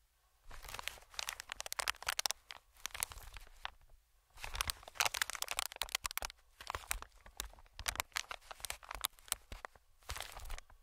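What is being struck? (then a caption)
Inflated plastic-film air cushion. Fingertips tap and scratch an inflated, medium-sized green plastic-film air pillow, producing bright, dry crinkling and rapid ticking scratches in bursts with brief quiet pauses between them. The sounds are crisp and close, with almost no ring after each touch.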